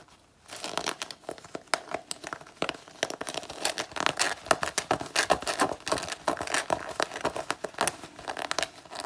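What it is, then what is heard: Faux leather jacket being scratched. After a brief quiet moment, long natural nails scratch and claw at the worn chest panel of a black faux leather jacket, making dense, bright crinkling and scraping with many sharp, irregular bursts. The scratching continues until the jacket's coating starts flaking off.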